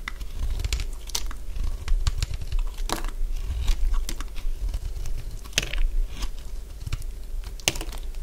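A hand-sized, solid cream-coloured bar of dry soap is held in one hand and shaved with a utility blade. The scraping and cutting make a steady run of crisp, crunchy scrapes and sharp bright cracks over a low rumble as the blade peels off crunchy curls.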